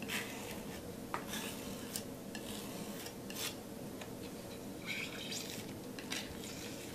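A metal palette knife is scraped across a flat canvas board coated in thick wet teal and pink paint, spreading the teal paint. Quiet, gritty scraping and smearing strokes continue throughout, with occasional brighter, sharper swipes standing out from the steady rasp.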